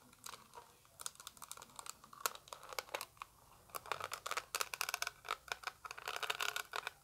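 A small translucent orange plastic eyeshadow palette is tapped rapidly with long acrylic nails, producing sharp, bright clicks in irregular bursts. Some crinkle-like sounds come through between the taps as the palette is handled.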